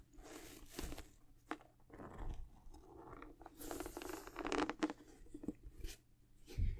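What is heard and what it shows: A high-top sneaker is held in both hands and turned to show its white rubber outsole while long acrylic nails scratch the solid, textured rubber sole. The sound is a series of short, dry, crunchy scratching bursts with a soft, muffled low body and little bright content, each fading almost instantly.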